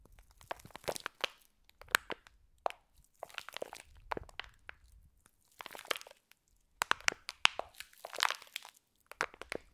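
Fingers squeeze and crunch a clear plastic pack of green foam bead slime while moving it above the microphones. Irregular bursts of bright, crisp crackling and crunching come in short clusters separated by brief silences, with almost no low end.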